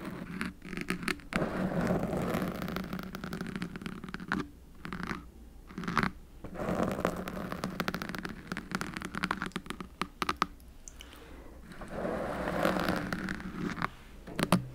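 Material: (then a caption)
Foam. Both hands scratch and rub long painted fingernails over a soft, porous black foam windscreen fitted over the hollow head of a silver metal USB microphone. The result is a steady, dense, close-up scratching and rustling with a muffled low-mid weight and little bright content. It pauses into brief quiet gaps around 4.5–6 seconds and 10.5–12 seconds, then resumes.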